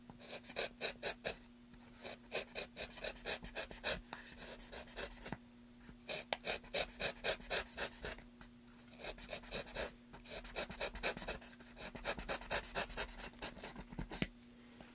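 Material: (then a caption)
Wood. A gloved hand holds a small, solid, pale wooden block with grooves on a table while the other gloved hand scrapes and carves it with a knife. Quick, bright, dry scraping strokes come in rapid bursts, separated by short pauses, over a faint steady low hum.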